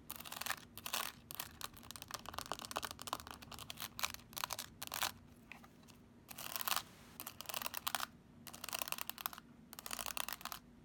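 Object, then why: Plastic calculator keypad and case. Long acrylic nails tap and click on the keys and case of a handheld black plastic graphing calculator in the Texas Instruments style. The clicks are quick, dry and bright, coming in dense bursts separated by short pauses, over a faint steady low hum.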